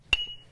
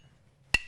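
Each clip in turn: First: One sharp strike leaves a clear, high ring near 2.8 kHz; the grinding wheel is sound, with no crack. Second: One sharp, dull strike on a grinding wheel, dying almost at once: a hidden internal crack.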